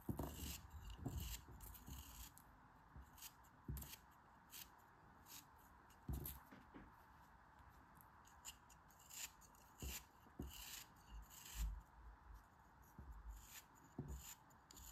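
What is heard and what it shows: A small, solid beige molded kinetic sand shape is held in the fingers and shaved with a metal utility knife blade, with crumbs falling off as it is cut. Quiet, repeated soft scraping and crunching strokes come with short bright hisses and dull low thumps, separated by brief near-silent pauses.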